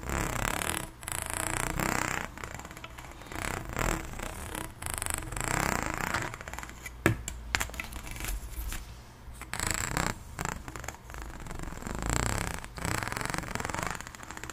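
Long blue nails scratch along the ridges of an extended pink, ribbed, hollow plastic corrugated pop tube. The result is a series of rapid, rasping, fluttering strokes that swell and fade, with a low, hollow body and a few sharper clicks near the middle.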